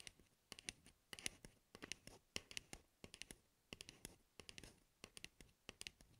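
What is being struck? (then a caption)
Hard plastic cap of a shaving cream can. Long red-painted nails tap and scratch a hollow blue hard plastic cap, held upside down, on a Nivea Men shaving cream can, right next to wrapped microphone ears. The result is a quick, irregular run of dry, bright clicks and scratchy taps with almost no ring after each one.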